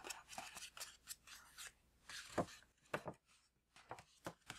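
A tall, apparently empty green paper gift bag with string handles and a tag is tapped and rubbed with fingertips and nails. Crisp, papery taps and scratchy rustling brushes come in quick irregular bursts, with bright crackle over a soft low thump. The sounds are short and dry.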